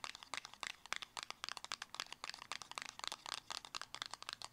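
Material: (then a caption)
Cardboard. A small black square cardboard cosmetic box, closed and hollow, is tapped and scratched with long acrylic nails. Fast, irregular bursts of dry, bright clicks and scratchy rustles come in quick clusters, with no low end and almost no ring.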